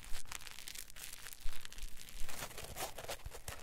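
A palm-sized solid green polyethylene packing foam block is squeezed and twisted with fingers and thumbs, giving a crinkly creak. Irregular bursts of dry, bright crackling and crunching sit over a low, soft rumble, with short tearing-like squeaks that stop quickly without ringing.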